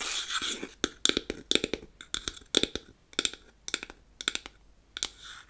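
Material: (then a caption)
Wood. Long acrylic nails tap and scratch the top of a closed, hollow, square unfinished beech-wood powder compact. Quick bursts of sharp, dry clicks come in rapid clusters with almost no ring, bright around 3.5 kHz and with almost no low end. Soft scratchy rustling opens and closes the clip.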